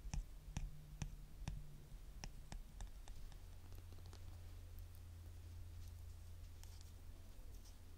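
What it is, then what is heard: Plastic nail polish bottle tapped with fingernails. A small blue star-shaped children's nail polish bottle with a pink cap, apparently plastic and probably partly filled with polish, is held in both hands and tapped and clicked with short natural fingernails. The result is a series of quiet, sharp, bright clicks that die away instantly, coming quicker and fainter as they go on, over a steady low hum.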